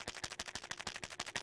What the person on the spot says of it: it sounds like metal on plastic it sounds like what coins would sound like if they were somehow inside the guy's pen